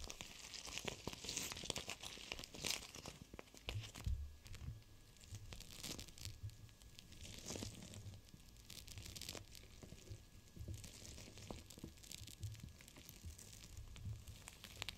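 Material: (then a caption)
Plastic. A flat, palm-sized clear plastic cold/hot pack filled with small teal gel beads is held in both hands with long painted nails and pressed and squeezed against glass. It gives continuous crinkling and crackling with brief crunchy bursts and a low thumping undertone throughout.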